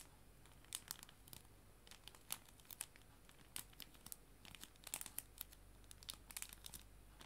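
A clear plastic cello bag, used as a sleeve holding paper art prints, is crinkled with fingertips and nails. Quiet, sharp, bright crackles and crinkles come in irregular bursts over a steady low background noise, each snap dying away almost instantly.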